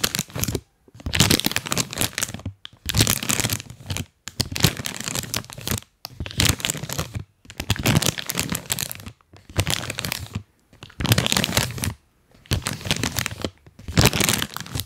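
A full printed plastic cookie bag, held at the mic, is scratched and crinkled by fingers wearing rubber toy hands. Dense bursts of crackling, crinkling plastic fill the whole range, from low rustle to bright, sharp crackle. They repeat with brief silent pauses between them.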